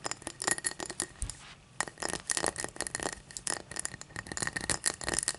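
Long matte dark nails tap and scratch the cut pattern on the side of an empty, hollow, clear cut-crystal tall glass lying on its side on a towel. Quick, bright glassy clicks and dry scratchy rasps come in dense bursts, with a brief quiet pause partway through. Each tap dies away almost instantly, with no lingering ring.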